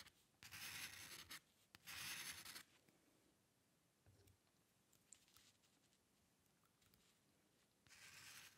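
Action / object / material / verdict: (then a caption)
scrape / paper sheet and metal dip-pen nib / paper / none. The metal nib of a dip pen scratches across a flat sheet of white drawing paper while drawing hair lines. Three bright, hissy scratching strokes stand out, two close together at the start and one at the end, with faint soft ticks and light scratches in the quiet stretch between.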